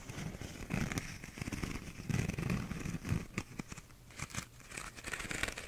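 Fingernails scratch the textured outside of a small, hollow, empty paper cup with a cardboard inner wall and a blue bumpy plastic outer sleeve. Dry, crinkly rasping strokes come in uneven bursts, with a low hollow thrum from the cup's body under bright crackling ticks that die away almost at once.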